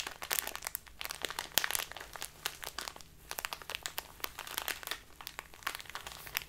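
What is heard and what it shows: A small plastic bag full of loose tea is crinkled in the hands, then pressed and rubbed with the fingers against a cloth-covered table. Dense, bright, crisp crackles come in quick irregular bursts with almost no low end, and each crinkle stops sharply with no ring.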